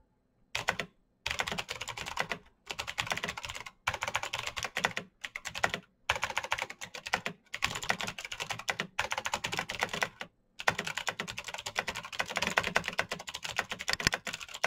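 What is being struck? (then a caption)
Plastic mechanical keyboard. Both hands type quickly with their fingertips on a black plastic mechanical keyboard with an RGB backlight. Rapid, bright, clacky keystrokes come in dense bursts separated by brief pauses, each click short with almost no ring.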